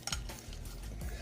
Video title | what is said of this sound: Best Fish & Chips recipe by Gordon Ramsay | Hear how crunchy that is.